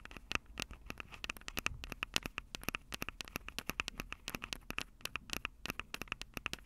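Long acrylic nails rapidly tap and scratch the mic capsules of a Tascam DR-05 handheld recorder, which has a plastic body and metal mic grilles. The result is a dense run of sharp, dry clicks with almost no ring, mixed with scratchy crackle. The sound is bright, with a recurring tone near 2.75 kHz.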